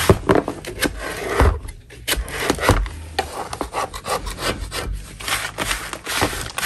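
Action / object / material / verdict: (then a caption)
scrape / natural chalk block / chalk / none. A metal putty knife, held in a gloved hand, scrapes across a solid natural chalk block. Rough, gritty scraping strokes come in uneven bursts, with dull low thumps underneath and a bright, hissy edge on top.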